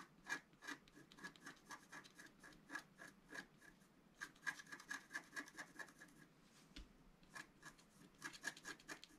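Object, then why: Wax-coated scratch-art paper scratched with a wooden stylus. A wooden stylus scratches and rubs the wax coating in the center of a flat scratch-art paper sheet. Short, quick raspy strokes repeat steadily with brief gaps, each a dry, bright scrape with a faint squeaky tone near 1.6 kHz and almost no low end. The sound stays quiet, and each stroke dies away immediately.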